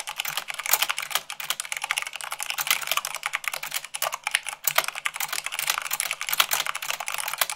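Fingertips with long nails type rapidly on a white plastic mechanical keyboard at about 98 words per minute. A dense, steady stream of short, bright clicks and clacks runs throughout with only brief dips, each keystroke dying away almost instantly with no low-end thud.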